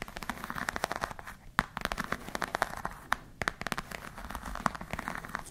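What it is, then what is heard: Croc-embossed patent leather bag. Long nails scratch and tap across the surface of a black glossy croc-embossed patent leather clutch bag. The result is a dense run of quick, dry crackling clicks and scratchy rasps, centered in the midrange with a few sharper taps and brief pauses.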